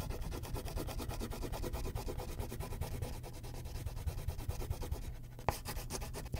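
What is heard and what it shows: A purple wax crayon shades the background of a thin white paper coloring sheet on a clipboard in broad strokes. Quick, steady back-and-forth rubbing makes a dry, scratchy, low-heavy sound, easing briefly near the five-second mark before a sharp tap and a return to strokes.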